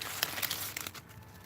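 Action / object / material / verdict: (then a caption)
scrape / Chinese cabbage leaves / leaf / crisp. Leaves of a large Chinese cabbage growing in a garden are handled, giving a burst of crisp, bright crinkling and crunching with several sharp snaps that fades after about a second. The crisp sound shows the leaves are fresh.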